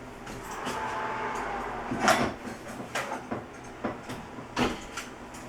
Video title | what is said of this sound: How to make a crunchy brown raisin bread | Nice hollow sound in there.